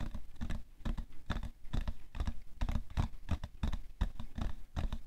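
Painted fingernails quickly tap the side of a hollow printed cardboard tissue box, full of tissues, resting on white fur. The result is a rapid, uneven patter of soft, dull, low-pitched knocks that stop almost instantly, with faint brighter clicks from the nails.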